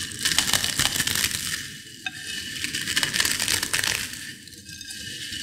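Fingers with long nails pinch and crush finely crushed potato chip pieces in a white bowl. The result is a dense, irregular run of bright, crisp crackling and crunching, with short sharp snaps over a steady rustle that briefly softens near the middle and again toward the end.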